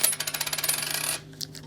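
A 50% silver Canadian dime is dropped and settles with a rapid run of bright, chattering bounces lasting about a second, followed by a few faint, scattered taps. The coin gives a short ring but still has a dull thud, less ringing than coins of higher silver content.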